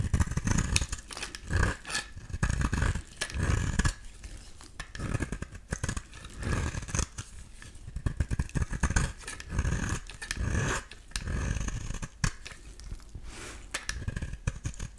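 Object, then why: Bar of soap shaved with a metal blade. A solid rectangular beige bar of soap, held in the hand, is shaved with a metal utility-knife blade. Many short, dry scraping strokes follow one another in an uneven rhythm, each with a soft low thump under a brief crisp rasp. Each stroke ends quickly with no ring.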